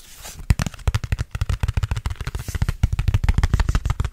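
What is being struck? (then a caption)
Thin plastic food container lid. Fingertips rapidly tap and grip a thin red plastic food container lid, with a close knuckle grip near the mic. About two dozen quick, dry, thumping clicks land in an uneven, fast rhythm. Each one stops short with no ring.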